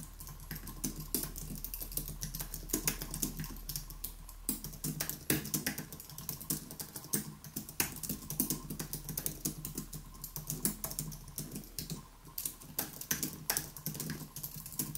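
A white Apple Magic Keyboard with plastic keys on an aluminium body sits on a wooden desk while both hands type on it with the fingertips. The result is a steady stream of rapid, light, crisp key clicks with quick bright transients over a faint low hum.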